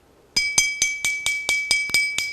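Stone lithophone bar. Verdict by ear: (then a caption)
Ringing. A stone lithophone bar, held at its acoustical node (the dull zone), is tapped ten times in a steady rhythm. Each tap gives a bright, glassy chime with a clear sustained tone and high overtones. It rings clearly because holding it at the node does not muffle the sound.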